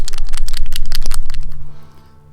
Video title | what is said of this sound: Patreon Tutorial - Kylo Ren #3 | So as you shake it, the metal ball is going, and that's mixing the paint up